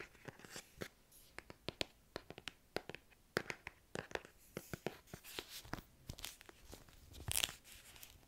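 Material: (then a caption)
Cardboard. An illustrated, solid hardcover book is held in both hands while fingernails tap and scratch across its cover and edges. Quiet, crisp, dry clicks come in an irregular rapid series with no ring. Brief scratchy rustling sits between the taps, and a louder scrape comes near the end.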